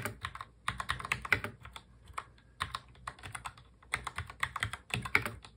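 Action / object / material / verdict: tap / mechanical keyboard with plastic keycaps / plastic / none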